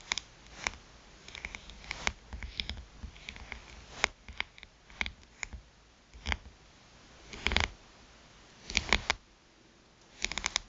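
Long pointed nails tap rapidly on the glass screen of a small black smartphone lying face up. Sharp, bright, dry clicks come in quick bursts and clusters with short pauses between them. Each click dies away almost instantly, with little low end under them.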